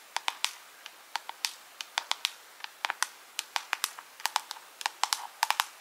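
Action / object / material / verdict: tap / small clear plastic jar with rhinestones / plastic / none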